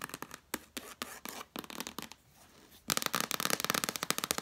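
Long nails scratch and tap on the red cloth cover and page edge of a cloth-bound hardcover book lying flat. Soft, scattered scratches and light taps fade into a brief near-silence. Then a fast run of crisp, bright tapping follows.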